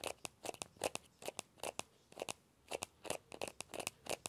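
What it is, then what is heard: Hollow plastic ball being scratched. Fingertips and nails scratch the shell of a small hollow orange plastic ball with a yellow stripe. About twenty short, dry, crunchy scrapes come in quick bursts, bright and crackly with a hollow midrange tone and almost no low end, each cutting off almost instantly.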